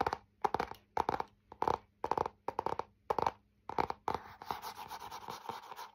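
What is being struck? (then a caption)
Laminated hardboard clipboard with metal clip. Fingernails tap and scratch the face of a thin, solid, flat printed laminated hardboard clipboard with a metal clip while it is held up. Eight quick clusters of dry, clicky mid-pitched taps sound, each separated by a short silence. In the last two seconds, they give way to a continuous, brighter rasping scratch.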